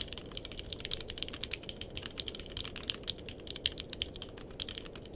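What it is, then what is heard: Mechanical keyboard with plastic keycaps. Fingertips of both hands type steadily on a purple-cased mechanical keyboard with plastic keycaps. A rapid, uneven stream of short, bright clicks and clacks rises over a faint, steady low background hiss. Each keystroke dies away almost instantly.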